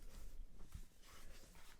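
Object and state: Nothing is struck.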